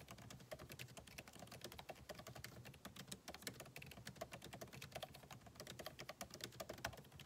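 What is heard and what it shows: Fingertips of both hands type steadily and quickly on a backlit MacBook Pro keyboard, with plastic keycaps set in an aluminum body. The result is a dense, continuous stream of short, dry, clicky key taps with a bright edge, each dying away almost instantly.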